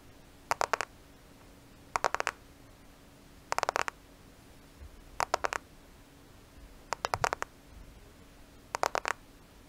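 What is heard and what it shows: A black smartphone with a glass and plastic body, held in front of the microphone, is lightly tapped and scratched with the nails. Six evenly spaced bursts of three to five quick, crisp clicks stand out against a faint, steady background hum.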